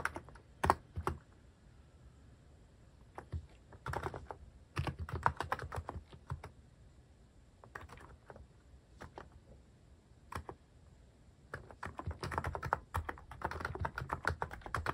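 Fingertips type on a cream mechanical keyboard fitted with sculpted plastic cat and paw keycaps. Quick bursts of short, dry key clacks with a soft low thud alternate with brief pauses, and each keystroke cuts off almost at once.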